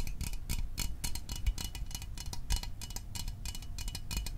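A small, hollow metal Fanta orange soda can held in the hands is tapped quickly with fingertips and fingernails. The result is a steady run of crisp, bright, tick-like clicks, each dying away almost at once over a soft low rumble.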